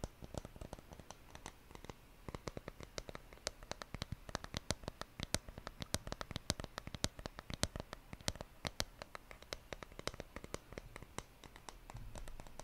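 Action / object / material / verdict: tap / wooden surface / wood / none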